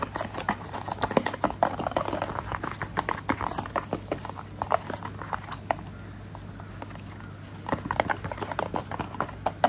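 Fingernails tap and scratch a small, hollow, orange printed cardboard sunscreen box held in one hand, making rapid dry, hollow clicks and papery scrapes centered in the midrange. The taps come in quick, irregular bursts over a faint steady low hum, ease into softer scratching partway through, then pick up again near the end.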